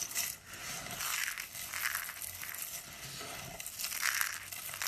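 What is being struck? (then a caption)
Cream soap curls and flakes. Brittle, solid cream-colored dry soap, rolled into a rose shape and flakes, is squeezed and crushed in the hand, then raked through with the fingers. The result is a steady, dense, dry crunching and crackling that is bright and crisp, with almost no low end and short, quick snaps that swell slightly in places.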